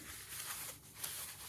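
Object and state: Nothing is struck.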